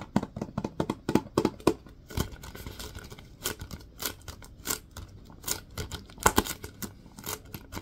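Fingertips and nails tap and scratch the side of a large Lysol disinfecting wipes canister, a hollow plastic cylinder with a white plastic lid and a paper label. Quick clusters of sharp, dry, hollow taps come first, then softer scratching with bright, brief ticks and occasional louder taps. Each tap dies away almost instantly.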